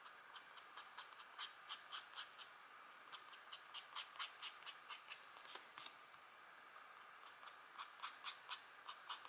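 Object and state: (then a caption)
Scratch art board being scratched. A stylus in a green holder scratches a deer/elk drawing into a flat, thin scratch art board with a black coating over gold foil, while a hand with long nails holds the board flat. Quiet, continuous scratching is broken by about 17 short, bright, raspy strokes at an uneven pace, with almost no low end.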